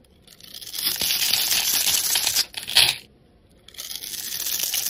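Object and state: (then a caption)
Soap bar being cut and scraped. A metal utility blade cuts a grid into a solid green Coast soap bar held in the palm and scrapes across it, so small cubes crumble off. A bright, dry scraping and crumbling rasp rises over the first second and holds. It dips briefly, returns as a short sharp burst, falls silent, then resumes.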